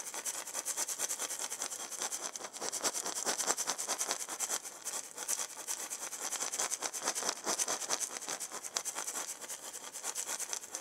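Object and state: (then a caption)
Wooden maraca shaker. A hollow, hand-sized round wooden maraca with a wooden handle and a burned zigzag pattern is shaken and turned by a hand with long nails. It makes a steady, bright, gritty rattling swish of rapid overlapping shakes with almost no low end.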